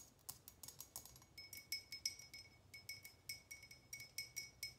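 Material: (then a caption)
Glass. A small, empty, faceted glass tumbler held in the hands is tapped with long nails in a quick, uneven series of about two dozen taps. Each tap is a bright, high clink with a faint glassy ring that dies away almost at once. Thin tones sit near 2.3 kHz.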